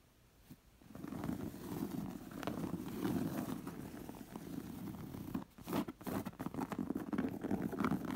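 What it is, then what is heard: Embroidered cotton pillow being scratched. Long acrylic nails and fingertips scratch and trace across the dense raised thread embroidery of a stuffed, round cotton pillow with a fringe edge. The sound is a soft, dull, continuous rasping scratch, mostly low and muffled, with a brief pause partway through before the scratching resumes.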